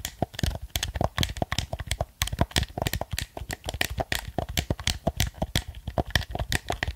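A black plastic gamepad is held close to a microphone while its buttons are pressed and its surface is tapped with fingertips and nails. A rapid, uneven stream of short, dry clicks and taps follows, each with a soft low thump and a bright plastic tick that stops almost instantly.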